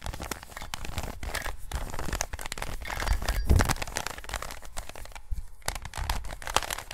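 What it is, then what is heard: Plastic Rubik's cube. A plastic 3x3 Rubik's cube is turned by gloved fingers close to the recorder. Repeated layer twists produce a dense run of dry clicks and crinkly rattles over a low rumble, with a brief near-silent pause just after five seconds.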